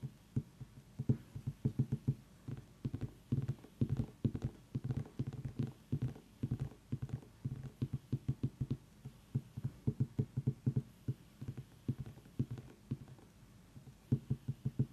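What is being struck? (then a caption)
Small pumpkin rind. Long nails tap quickly around the ribbed, hard rind of a small whole orange pumpkin resting on a table, while an essential-oil diffuser runs nearby. The rapid, uneven taps sound like short, dry, hollow knocks with a low pitch and almost no bright content. Each tap dies away almost at once, so the clip is a steady patter of quick clicks.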